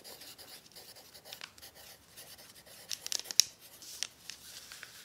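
A hand writes out a cookie recipe with an orange pencil on a crumpled, thin sheet of brown kraft paper, making a steady, soft, bright scratching and faint crinkling. A few sharper ticks and crackles stand out near the middle before the quiet scratching continues.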